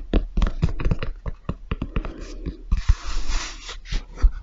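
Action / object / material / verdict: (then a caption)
tap / leather and rubber high-top sneaker / leather / none. A grey leather and rubber high-top sneaker, held upright, has its perforated white toe and upper tapped with fingertips and nails. It gives a rapid series of short, dull, low thuds with faint clicks, then a softer stretch of scratchy hiss before a few more taps.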